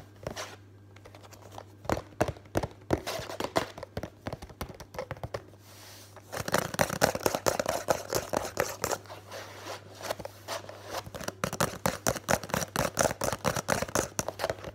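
Fingers and nails tap quickly on the printed side panel of a hollow Complan cardboard box held close, making dry, papery clicks with scratchy texture over a faint steady low hum. The tapping is sparse and quieter for the first six seconds, then becomes a dense, louder, uneven flurry of rapid hits until the end.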